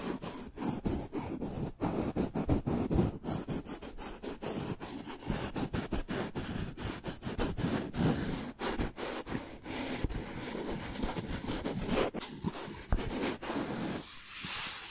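Long nails scratch and tap along the surface of a long, hollow brown cardboard tube held horizontally. The result is a steady, dry scratching rustle broken by many quick, sharp taps with a hollow low body, ending in a brighter, hissy scrape.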